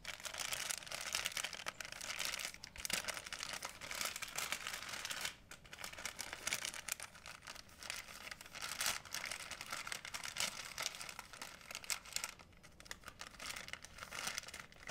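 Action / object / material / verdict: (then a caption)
scrape / thin plastic bag / plastic / none. A white plastic shopping bag is folded and crumpled between fingertips with painted nails. It makes a steady, dense, bright crinkling with almost no low end. The crinkling briefly softens around the middle and again near the end.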